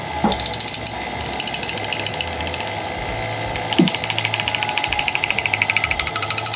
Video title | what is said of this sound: Rebuilding Bypass Shocks W/ ADS Suspension | that rattling you're hearing is the actual bypass valves, not the movement of the piston